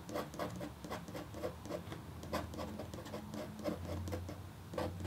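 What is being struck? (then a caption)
Copper foil scratch art board. A red-handled, metal-tipped stylus makes fine scratching strokes across a flat, black-coated copper foil scratch art sheet with a hummingbird design. A steady run of short, quiet, dry scratches repeats in quick succession, with a muted, low-mid texture and little bright edge, over a faint low rumble.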